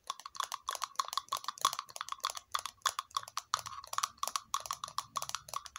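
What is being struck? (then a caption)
Small ridged plastic cup. Long fingernails tap and scratch a small, hollow, red glossy plastic cup-shaped cylinder with ridges. The result is a rapid, uneven series of light, dry clicks, each with a brief hollow tone near 1.1 kHz. Soft scratchy rasps fill the gaps between the taps.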